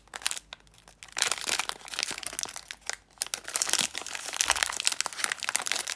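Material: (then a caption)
Plastic film. A full 35 g Nestle chocolate muesli bar in a thin plastic/foil-film wrapper, about hand-length, is held flat in both hands and turned over while long red-painted nails and fingertips squeeze, rub and crinkle the wrapper against the bar. Dense, bright crackling and crinkling comes in bursts, with short quiet gaps near the start and around the third second.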